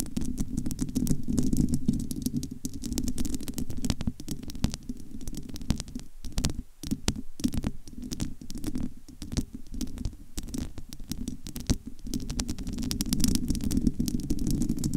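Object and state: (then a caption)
Metal mesh microphone grille. Long almond nails on both hands scratch across the bare, domed metal wire-mesh grille of a large, hollow studio microphone. The result is a dense, continuous crackle of fast scratches over a heavy low rumble, with brief quieter dips where the nails lift.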